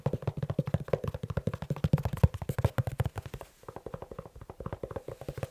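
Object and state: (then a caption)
Leather shoe. Fast tapping on a leather shoe, with no talking. A rapid, steady run of short, dull, low taps with little ring, continuing through the clip apart from a brief pause just past the middle.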